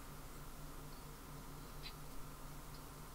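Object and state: Nothing is struck.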